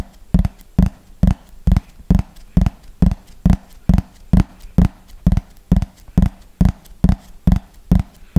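Fingernails tap the top surface of a thin, hollow yellow plastic frisbee held upright, in a slow, steady rhythm. Each tap is a short, hollow, low thud with a brief ring that dies away quickly, some arriving in quick pairs.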